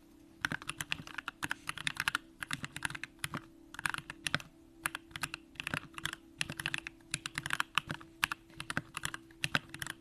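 A compact Bakeneko65 mechanical keyboard with an aluminum case, Durock lavender switches and pink plastic keycaps is typed on continuously with the fingertips of both hands. Its short, bright clacks come in quick, uneven bursts with brief pauses, over a faint steady low hum.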